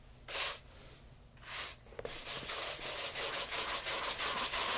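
A horsehair shoe brush sweeps across the upper and along the welt of a light brown bespoke leather loafer held in hand. Two separate soft, bright bristle strokes come first, then a faint tap, then fast, steady back-and-forth brushing. It makes a continuous airy, hissing scrub.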